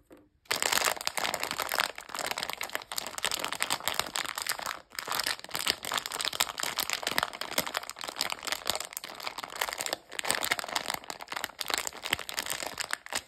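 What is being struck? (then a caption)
Plastic candy bag full of sweets. A sealed pink Bebeto plastic gummy candy bag, full of jelly sweets, is held in both hands and squeezed and crinkled by fingertips with long nails. After a brief quiet start, there is a steady, dense, bright crinkling with sharp little crackles. The crinkling dips briefly twice, around 5 and 10 seconds, before carrying on.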